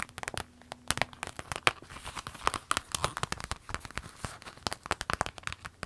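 Long nails scratch and tap a small, empty, clear orange vinyl zip pencil case while hands hold it up and squeeze it. The result is a dense run of quick, dry crinkling and crackling clicks with bright, papery edges.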